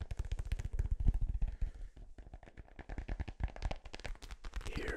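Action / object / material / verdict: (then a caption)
tap / synthetic leather soccer ball / synthetic leather / none. A blue synthetic-leather soccer ball, hollow and inflated, is held close to the mic and tapped and scratched with fingertips and nails. A fast, uneven stream of dull, booming taps with very short ring is heard, mixed with softer scratching near the end.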